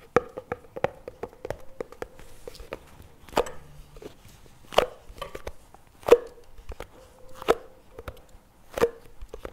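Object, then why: Plastic spread tub. A CremaNovi plastic spread tub, held on its side in one hand, is tapped on its lid and rim with fingertips and nails. About 22 short, dry taps come in an uneven rhythm, with a faint hollow tone near 480 Hz. Several louder, sharper clicks stand out among the softer taps.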